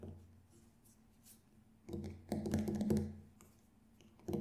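Fingertips tap on the black synthetic head of a Remo Buffalo frame drum, a large hollow drum held in front of the face, striking near the rim. Soft, low, resonant thuds with a deep hum come in irregular clusters between quiet pauses, with a final tap at the end.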